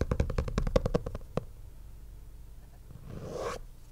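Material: Faux leather.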